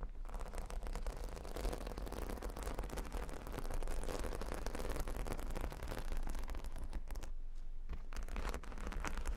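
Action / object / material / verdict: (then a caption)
scrape / plastic faux-pearl beads on a cork board / plastic / none. Long fingernails scratch and tap across a square, cork-bordered board covered in small plastic faux-pearl beads. The result is a steady, dense stream of crunchy rattling and scraping clicks over a heavy low rumble, with a brief quieter dip near the end.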